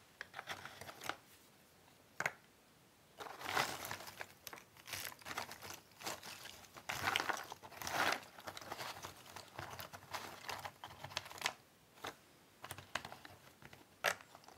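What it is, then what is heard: Cardboard jigsaw puzzle pieces being shuffled. Fingertips with long painted nails stir and shuffle a pile of many small cardboard jigsaw puzzle pieces in a cardboard box lid. The result is dry, bright rustling and crinkling clatter in uneven bursts, with sharp clicks and short quiet pauses between handfuls, and almost no low end.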